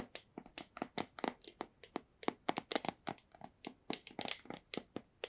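A small, hollow white cardboard AirPods box is held up and tapped sharply with long nails in an irregular run of about two dozen quick taps. Each tap is a dry, hollow click with a papery body around 740 Hz and a bright, crisp top, dying away almost instantly.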